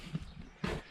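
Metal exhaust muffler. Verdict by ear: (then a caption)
Loose. A metal exhaust muffler from a Bobcat T750 is shaken, giving two dull, low clunks with a brief rattle as its loose internals knock around. The noise shows the muffler has failed, since the machine ran without problems on a straight exhaust.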